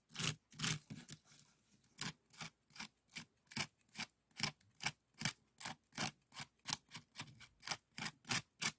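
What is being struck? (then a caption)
Woven bamboo strip scoop. A small, empty, hollow woven bamboo bokjori scoop is held and scraped across its weave with a bamboo stick wrapped in yellow. This gives a series of short, bright, raspy scrapes with a little low body. The strokes come at a fairly quick, uneven pace of about 23 strokes, with a brief quieter gap near the start.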